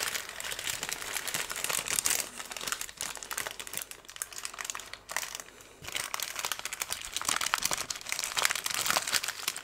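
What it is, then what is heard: Kraft paper strip. A long, thin strip of brown kraft paper, twisted into a loose roll, is held in the hands and crumpled, twisted and rubbed between the fingertips close to the microphone. It makes a dense stream of bright, crisp crinkles and crackles with almost no low end, easing briefly around the third second and again between the fifth and sixth seconds before picking up once more.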